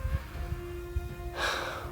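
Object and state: Nothing is struck.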